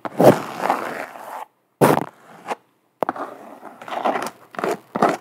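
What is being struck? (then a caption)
Canvas sneaker with rubber sole. Long black nails scratch and tap an empty speckled beige canvas Vans sneaker, working over both the canvas and its white rubber sole's sidewall. Dry, papery scratching bursts come in uneven runs separated by brief silences, with a few sharper taps cutting in. The sound sits mostly in the midrange and dies away quickly after each stroke.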